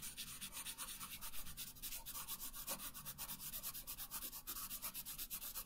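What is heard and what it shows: A pink wooden colored pencil is rubbed hard across a thin paper coloring sheet lying on a wooden table, in fast back-and-forth coloring strokes. It makes a quiet, bright, scratchy rasp that pulses steadily with each stroke over a faint low hum. The strokes run on without pause through the whole clip.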